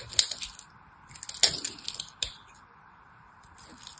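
A small knife cuts flakes from the surface of a hand-size, solid purple and white striped soap bar. Bright, crisp scraping crackles come in short bursts with a few sharp clicks, then fade to quiet with faint light scratches at the end.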